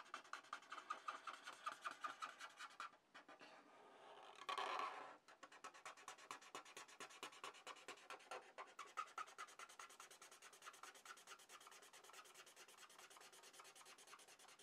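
A red felt-tip marker held in the hand rubs back and forth across a flat sheet of drawing paper resting on a desk pad, filling in a shape. Steady, rapid, scratchy coloring strokes carry on throughout. Around the fourth to fifth second they give way to a short, louder continuous rubbing sweep before the quick back-and-forth strokes resume.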